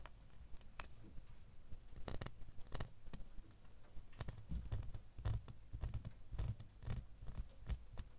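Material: Metal.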